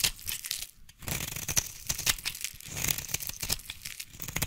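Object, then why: Bar of soap. A solid white bar of soap held in one hand is carved and scraped with a small blade, and scissors scratch its surface partway through, giving a dense run of bright, crisp scraping and crackling with short crunchy bursts. There is a brief lull near the start before the scraping resumes. Shavings fall onto a pile of soap flakes.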